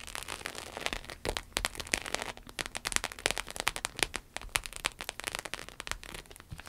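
Long acrylic nails rapidly tap and scratch a red, glossy, croc-embossed vinyl wallet resting on a table. The result is a dense, bright crackle of sharp clicks and short scrapes that ends almost as soon as each one starts, with little low end.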